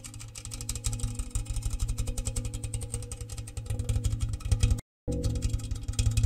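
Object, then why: Empty round metal biscuit tin. Fingers and nails tap fast on the outside base and sides of an open, empty, medium-size round metal gingersnap biscuit tin with a red printed exterior and bare tin interior, held up close. The hollow tin gives a rapid run of short, deep, boomy knocks centred around 62 Hz, with little brightness and almost no ring. The taps grow louder toward the end, broken by a brief silence just before the five-second mark.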